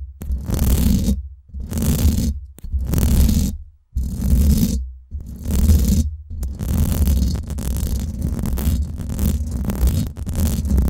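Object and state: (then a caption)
Metal mesh microphone grille scratched. Long nails scratch the hollow, domed steel mesh head of a Blue Yeti microphone, heard close from the top. Slow, separate rasping strokes with a heavy low rumble give way to faster, continuous scratching, with bright, hissy scraping over a deep boomy body.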